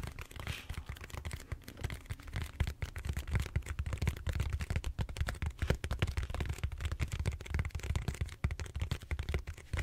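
Fingertips and short nails scratch the bumpy surface of a large, purple, solid styrofoam foam roller held horizontally. The result is a dense, continuous run of quick, dry scratches and taps with a heavy, low, thumping rumble underneath and little brightness on top.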